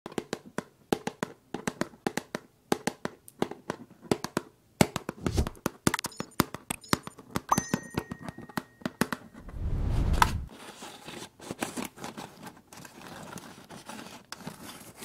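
A small pink translucent plastic food canister with a snap-on lid and printed label is held in one hand while long pale acrylic nails tap and scratch its lid and sides. Dense, short, dry clicks and taps come in rapid bursts, with a louder, low, rustling scrape near the middle. Later come softer, steadier scratching textures.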